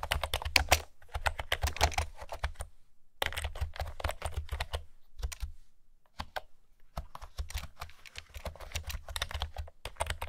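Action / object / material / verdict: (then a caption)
tap / plastic keyboard with round keys / plastic / none. Fingertips with long nails type on a pastel blue and green plastic retro keyboard with round keys and a hollow plastic body. Rapid bursts of light, bright clacking ride over a hollow low thump, broken by short pauses near the three-, five- and six-second marks. Each keystroke dies away almost at once.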